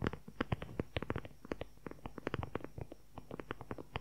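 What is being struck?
Leather-covered journal.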